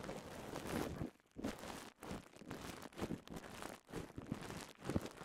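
Crumpled clear polyethylene bubble wrap, held close, is squeezed and popped with the fingers. The result is dense bursts of crinkling and crackling with sharp little pops, separated by short quiet gaps.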